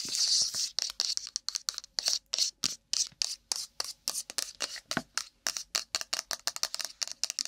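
Long nails rapidly tap and scratch a small, hollow, printed cardboard iPhone retail box held beside the mic. The result is a fast, rough run of about thirty crisp, dry, bright clicks and scratchy rasps with almost no low end. The sounds blur together at first, then separate into distinct taps.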